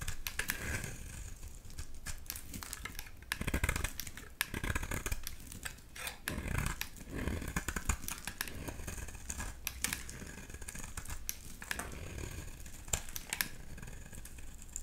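A blade scrapes and shaves the surface of a solid blue bar of soap over and over. The result is a steady run of quick, crisp, dry scratches and ticks, with brief brighter bursts between quieter passes over a low background rumble.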